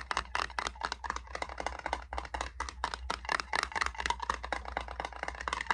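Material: Metal.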